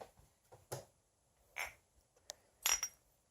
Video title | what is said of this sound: Stages of Clay | Glaze sounds like glass because it is.